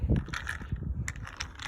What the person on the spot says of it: you can hear there's salt pellets inside